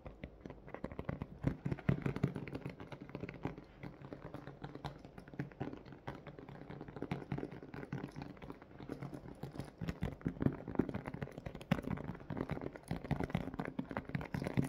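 Fingertips and short nails tap and scratch across the surface of a small, transparent soft-plastic zip pouch with a pink zipper, packed full with a pink plush octopus toy. The result is a dense, continuous run of quick, soft taps and crinkly scrapes that die away almost at once, with a muffled, low-heavy tone and very little high end.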